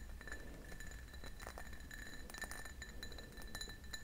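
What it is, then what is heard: Cut glass tumbler. An empty, hollow cut-glass tumbler, a clear cut-crystal drinking glass with a diamond pattern, is held in both hands and tapped and scratched with fingernails. Quick, bright clinks with a high glassy ring that fades fast sound over a soft, steady low hum.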